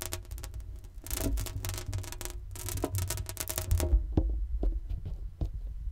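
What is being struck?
Inflated latex balloon.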